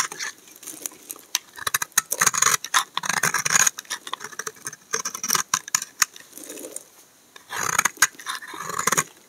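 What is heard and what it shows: A steel utility knife blade scrapes shavings off the face of a solid tan laundry soap bar held in hand. Rapid, crisp, bright scraping strokes come in short bursts with brief pauses between them, and almost no low end.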